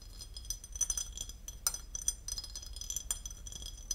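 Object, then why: Porcelain lid. A porcelain lid is tapped and scratched, giving quick, bright ceramic clinks over a steady, high scratching hiss. Each clink dies away almost at once, with a few sharper taps standing out from the softer scraping texture.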